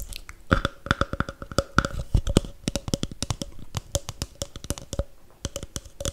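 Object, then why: Paper cup. A hollow, empty red snowflake paper cup is tapped rapidly with nails and fingertips, giving dry, clicky taps with a faint hollow ring. It is then squeezed until its wall dents, adding crinkly crunches.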